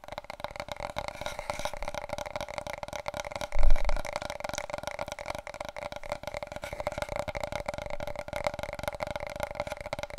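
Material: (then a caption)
Cardboard. Long nails tap and scratch rapidly on a wide, long, hollow, empty large cardboard paper roll tube held diagonally. The result is a steady stream of quick, dry, hollow clicks with a faint constant tone beneath, broken by one louder, deeper thump just before the four-second mark.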